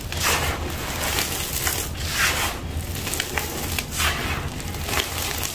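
Bare fingertips and palms scoop, crush and crumble chunks of a large, loose pile of dry, gritty grey sand-cement mix with small pebble-like crumbs on the floor, then rub and rake through the powder. The result is a steady, bright, grainy crunching and rustling with a soft low rumble underneath. Louder crumbly bursts swell at uneven intervals.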